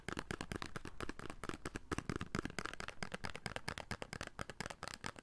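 A small, hollow, red printed paperboard soap box held in the hands is tapped with the fingertips on its faces and edges. About 29 quick, dry, hollow taps come in an uneven stream, each a short papery knock with a low body and almost no ring.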